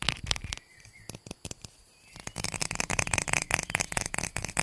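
A medium, hollow pink plastic bottle is held close to the mic and tapped and scratched with long painted nails. Crisp, bright clicks ring briefly around 2.5 kHz, with a quieter stretch of sparse taps and a faint scratch in the middle. The clip ends in a denser run of rapid tapping and scratching.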